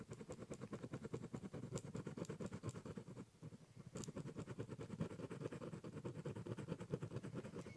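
A ballpoint pen draws small repeated strokes near the top edge of a large, hollow, brown corrugated cardboard box. The result is a steady, rapid run of soft, low scratching taps. The strokes pause briefly just past the three-second mark, then resume at the same pace.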